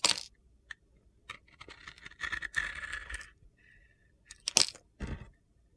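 A utility knife blade scrapes and shaves the side of a handheld solid pink and black glitter-coated bar of soap. Bright, gritty crunching and scraping strokes come in separate bursts with short quiet gaps, mostly high in tone with almost no low end.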